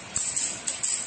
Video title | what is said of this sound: INI INTINYA!! PAHAMI DULU DASAR DARI JUPITER 130CC TUNE UP - MP 4 II DYCHO RACING | Jika bunyinya nyaring melengking, pasti pistonnya keras.